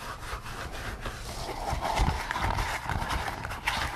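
Fingertips scratch and tap the top and ears of a pink latex pig mask worn on the head. The result is a steady, rubbery rustling scratch with a low thumping body and soft, short taps mixed in.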